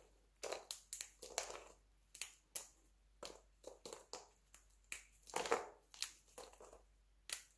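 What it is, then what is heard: Dry soap flakes. Fingertips and nails snap and crumble thin, brittle pieces from a pile of pale yellow dry soap flakes. Short, dry crunches and crisp snaps come in quick, separate bursts with bright high-end crackle and almost no low end or ring.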